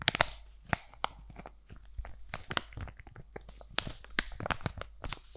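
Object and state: Foil-plastic sheet mask pouch.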